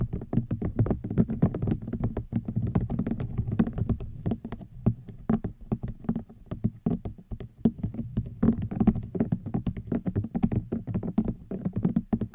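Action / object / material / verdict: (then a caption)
tap / rattan woven object / rattan / none. A rattan item is tapped with the fingers in a steady, rapid stream of soft taps. Each tap is dull and low-pitched, with almost no ring.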